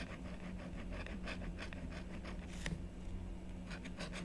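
A blue stylus scratches repeated hatching strokes into the lower part of a design on a black-coated scratch-art paper board, held flat by a long-nailed hand. Short, bright scratching rasps repeat over a low, steady hum.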